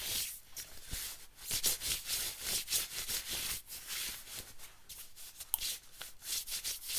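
Fingertips scratch and rub the sleeve and collar of a thin yellow camo-print nylon windbreaker being worn, producing dense, bright, hissy swishes and scrapes. The strokes come in uneven bursts with no ringing, and the sound sits almost entirely in the high range with little low end.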